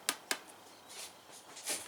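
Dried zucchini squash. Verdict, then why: Hollow. Two sharp, hollow knocks ring out as a year-old dried zucchini is tapped, followed by a softer, bright rustling swell. The gourd sounds hollow because its seeds have used up the flesh, and the seeds are ready to plant.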